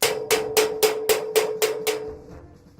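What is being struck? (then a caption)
Wooden wardrobe. A wardrobe is knocked hard, giving eight loud, sharp knocks in a steady rhythm. Each knock has a bright attack and a short hollow tone near 434 Hz that dies away quickly.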